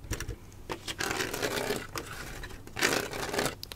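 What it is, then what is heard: Plastic Lego mosaic panel. Fingernails scratch across a large Spider-Man Lego art panel made of plastic studs set in a frame. The result is a series of dry, bright, rasping scrapes with quick clicky taps between them, and a louder sustained scratch near the end, with little low end.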